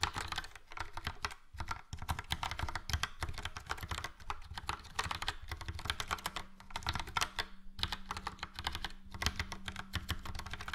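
Fingertips of both hands type rapidly on a full-size plastic Logitech POP Keys mechanical keyboard with a yellow frame and round dark grey and light grey typewriter-style keycaps. The result is a dense, steady stream of short clacky keystrokes with a low thump under each bright click and almost no ring, broken by a few brief pauses.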